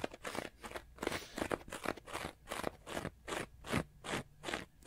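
Fingernails scratch the face and edge of a small block of orange porous synthetic foam sponge with holes. Quick, uneven strokes of dry, crunchy, broadband scraping repeat about two to three times per second, each burst bright and crackly with short pauses between.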